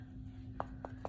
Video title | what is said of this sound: Papier Mache Demonstration | you can hear it knocking